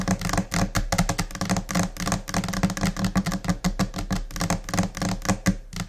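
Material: Laminated particleboard.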